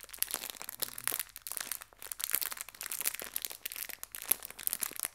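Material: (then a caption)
Plastic. A small clear plastic bag full of colorful hair ties is gently crinkled and squeezed with fingertips and long red nails. It makes a quiet, continuous run of bright, crisp crinkles and tiny crackles with almost no low end, each sound dying away instantly.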